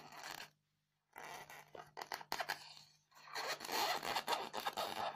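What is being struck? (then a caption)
Polystyrene foam block. Long fingernails scratch the top of a solid, square white polystyrene foam block with loose beads. Bright, squeaky scraping comes in quick, irregular strokes with a squeal around 875 Hz. A short silence follows the first burst, and the scratching builds louder and denser toward the end.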